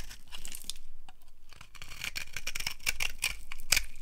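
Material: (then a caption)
Soap. A yellow-handled blade carves shavings off the top edge of a solid, dry brown soap bar held in the hand. The steady cutting makes dry, crisp scraping and crackling with bright, brittle snaps that grow louder toward the end, over a faint low hum.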